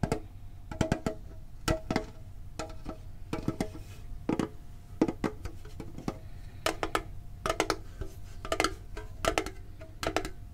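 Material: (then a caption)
Tinplate. A medium-sized hollow printed metal Pokemon card tin box is held and tapped on its lid and sides with fingertips and short nails. Quick bursts of light, clicky taps alternate with single knocks, each with a faint metallic ring around 645 Hz that dies away almost at once over a low, steady background rumble.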